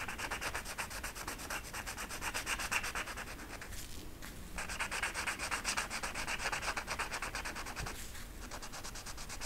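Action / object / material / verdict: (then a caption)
scrape / flocked velvet poster sheet with marker tip / velvet flocking / none. A blue marker tip is scrubbed in short strokes over a flocked-velvet peacock art poster sheet lying flat. The result is a steady, fast, bright scratchy rubbing with brief pauses near 4 and 8 seconds, and the sheet does not change.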